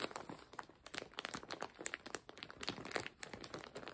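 A full, clear plastic zip-lock bag holding colorful fabric is lifted, squeezed and crinkled with the fingers. A steady run of quick, dry crinkles and crackles comes through, bright and crisp with little low end, each snap dying away at once.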